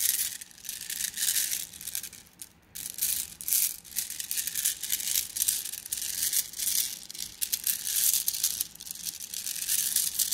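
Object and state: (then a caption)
Glass gems rattling in a plastic mesh bag. Fingers squeeze a plastic mesh bag of flat blue glass gems against a table, making the gems rattle. Dense, bright clicking and crinkling rattles come in steady bursts, dipping to near quiet briefly before resuming.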